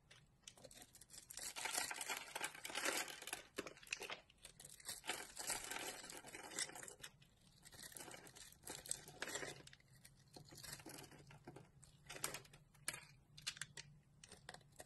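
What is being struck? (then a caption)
Bar of soap shaved with a knife blade. A utility knife blade scrapes and shaves the surface of a solid green bar of soap held in the palm, peeling off fine shavings. The sound is a quiet, bright, crinkly scraping that comes in repeated bursts with brief pauses between strokes, with very little low end.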